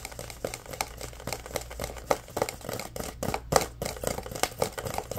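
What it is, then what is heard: Plastic drink bottle. A full orange Prime plastic drink bottle is held up in both hands while fingernails tap and scratch its plastic label. Quick, dry clicks with a hollow plastic tone around 500 Hz ring briefly over a steady low hum, between soft scratchy rustles.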